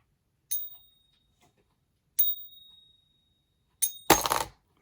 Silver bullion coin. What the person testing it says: you heard the ring to it, and it just kept on going.